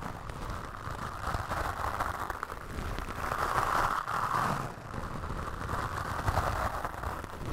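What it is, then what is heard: Foam microphone windscreen being brushed. A bamboo toothbrush with white bristles brushes and scratches across a black foam windscreen on a microphone. The result is a dense, continuous scratchy rustle with a low rumble and a crackly midrange band, swelling and easing in waves over about seven seconds.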